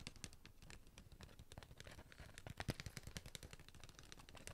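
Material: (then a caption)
Cardboard. A sealed cardboard Pringles chip can is tapped rapidly on its side and lid with fingertips and nails, held up near the face at times. A quick, uneven run of short taps follows: dull, hollow low thumps mixed with bright, dry nail clicks that stop dead with no ring. The loudest cluster of taps comes just past the middle.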